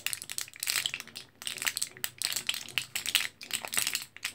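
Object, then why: Plastic and foil blister pack of capsules. An orange foil-backed blister card full of capsules is held in both hands while fingertips press and tap the plastic blisters. The result is a steady run of bright, crinkly clicks and crackles, with the capsules rattling inside the blisters. The sound sits almost entirely in the high range, with very little low end.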